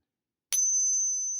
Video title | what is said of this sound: How to Spot FAKE Silver Coins or Rounds with the Pocket Pinger Coin Tester | a huge difference in the ping sound